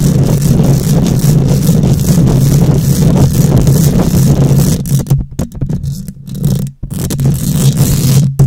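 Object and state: Metal mesh microphone grille being scratched.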